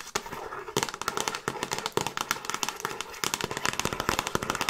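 Long nails tap and scratch quickly on the front cover of a hollow plastic Frasier DVD box set case held close to the mic. Rapid, sharp, clicky taps with a hollow mid-range knock and bright, scratchy rasping between them make a dense, crackling patter with very little low end. Each tap dies away almost instantly.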